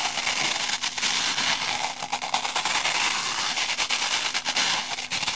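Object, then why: Foam kitchen sponge with abrasive scouring pad. A small, light, porous rectangular kitchen sponge, made of layered green and pink soft foam with a black abrasive scouring-pad layer in the middle, is held in both hands and rubbed and scratched with long painted nails. The result is a steady, dense, bright crackling scratch with almost no low end, broken by many quick rasping bursts.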